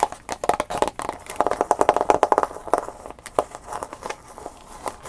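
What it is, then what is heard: Plastic blister pack. Fingernails tap rapidly on a clear plastic blister package holding a USB flash drive, which is held up in the hands. Quick, crisp clicks run in an irregular flurry, each with a hollow plastic ring around 850 Hz and bright crackly edges. They die away almost instantly, with faint crinkling between them.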